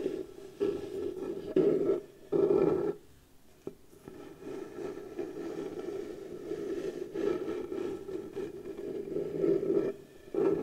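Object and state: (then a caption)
Wooden box lid, scratched. Long blue nails slowly scratch and rub the flat surface of a round piece of pale wood, likely the lid of a round light wooden box, held against a chest. A steady, mid-pitched scratchy rasp continues with louder swells near the start and end, and a brief quiet pause with a single soft tick around the fourth second.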